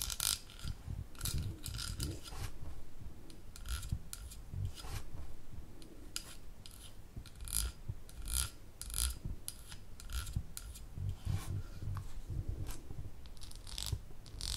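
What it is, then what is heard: Glass jar with ridged metal lid. Long nails scratch and rub the ridged gold metal lid of a small amber glass jar held up close. A steady stream of fine, bright scraping with short rasping bursts runs over a low rumbling undertone.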